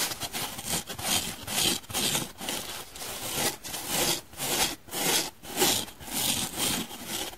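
Long painted nails scratch the surface of a dry, hand-sized, blue and white donut-shaped polyurethane foam sponge with a central hole, just after it goes from soapy to dry. About eight bright, raspy strokes are heard, each a rough scratch that swells and fades at an uneven pace of roughly two per second.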